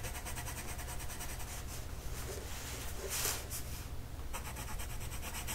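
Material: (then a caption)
Paper. A light blue colored pencil makes vigorous back-and-forth shading strokes on a flat paper mandala coloring sheet. The result is a steady, rhythmic scratchy rubbing with a low hum underneath and occasional brighter hiss bursts.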